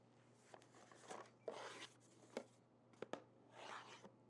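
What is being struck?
Small printed cardboard box.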